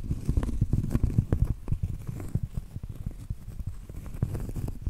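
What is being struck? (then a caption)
Cork trivet. Acrylic nails tap and scratch across the flat face of a round, solid cork trivet. The result is a dull, low, muffled patter of irregular soft taps with brief scratchy textures and almost no ring.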